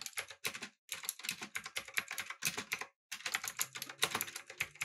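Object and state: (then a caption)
Mechanical keyboard with plastic keycaps. Fingertips type on a backlit, typewriter-style mechanical keyboard with round plastic keycaps. The result is a rapid run of short, bright, clicky key taps with very little low end, each tap dying away almost at once. Two brief pauses break the run before the typing picks up again.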